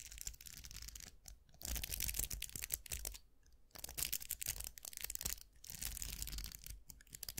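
Fingertips scratch and flick the plastic bristles of a round styling hair brush with a vented metal barrel, making a dense, bright, crackling scratch. It comes in bursts with brief quiet pauses, the longest near the middle of the clip, over a low rumble.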